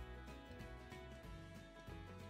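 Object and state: Nothing is struck.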